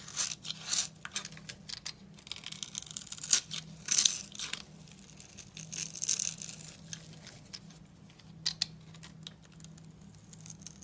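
A steel utility knife blade scrapes a dry, solid blue bar of soap held in the hand, with crumbs falling away. Bright, dry, crackly scrapes and crunches come in irregular bursts, a few sharper and louder than the rest. A faint steady low hum sits underneath throughout.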